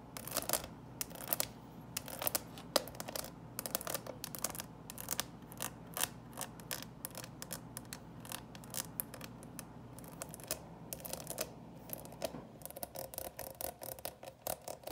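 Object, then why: Small plastic candy box. Long purple nails tap and scratch the lid of a small, hollow, clear plastic coffin-shaped box with a plastic skeleton on top, filled with small candy-coated candies. The result is a quick series of sharp, bright plastic clicks and raspy scratches, each dying away almost instantly, with a hollow body around 570 Hz.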